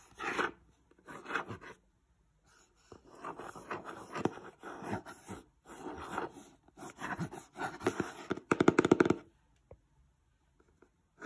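A fingertip and nail trace and scratch along the printed installation diagram on the side panel of a glossy printed cardboard Christmas lights box. Soft, dry scraping strokes come in short bursts separated by brief pauses, with a faster cluster of sharper scratches near the end before it falls quiet.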